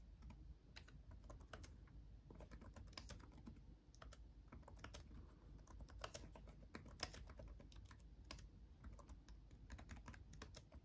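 Both hands type with their fingertips on a backlit laptop keyboard with plastic chiclet keys. A steady, quick stream of short, sharp clicks with bright edges sits over a constant low hum. Each keystroke dies away almost instantly.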